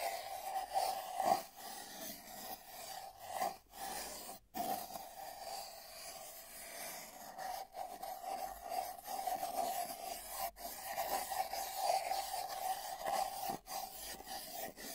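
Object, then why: Cardboard mailing tube. A pencil tip taps and scratches at different spots along the top of a long, hollow brown cardboard mailing tube with tape bands, with a microphone inside. A continuous scratchy rubbing rides on a hollow, resonant hum around 785 Hz. It is broken by brief sharp taps and short silent gaps.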